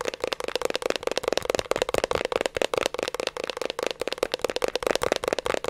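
Fingertips and nails tap and scratch the labeled metal top side of a 3.5-inch hard disk drive held in both hands. A rapid, continuous run of short, dry clicks and scrapes carries a faint tonal ring around 560 Hz and a bright, crackly edge. Each tap dies away almost instantly.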